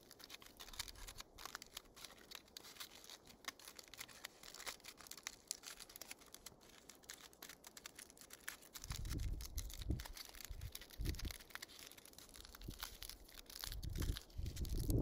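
A small wad of aluminium foil is crushed and squeezed in the fingers into a tighter ball. It gives a dense, irregular stream of bright crinkling and crackling. From about nine seconds, heavier, low-pitched crushing bursts come in bunches.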